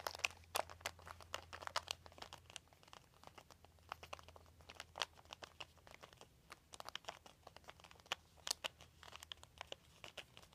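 Fingertips of both hands scratch and crinkle a large, thin, white, crumpled plastic sheet. Quiet, dense, bright crackles and sharp snaps come in irregular bursts for about ten seconds, with no ring after each one. A faint, steady low hum sits underneath.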